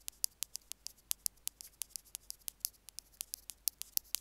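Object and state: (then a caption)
Plastic earphone remote being picked. Two bamboo picks scratch and poke at the plus end of a small white plastic Apple earphone mic remote resting on a stone slab. About 25 quick, dry, very bright ticks and clicks come at a steady pace over four seconds, with faint hiss between them. There is almost no low end.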